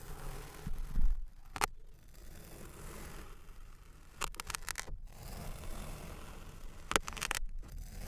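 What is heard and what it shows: A thin metal knife blade, held in the hand, repeatedly slices through a large solid red mound of kinetic sand molded into a lips shape on a light surface. The cuts through the soft packed sand make a quiet, low, gritty scrape and rustle, broken by short, sharp, bright crackling bursts as the blade passes through.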